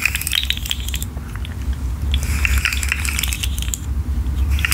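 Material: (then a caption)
Plastic. A rainbow articulated plastic fidget slug hangs from the fingers and is shaken and bent so its segments click. The result is a dense run of quick, bright clicks and rattles, centred around 2.5 kHz, over a steady low rumble, with pauses of a second or two.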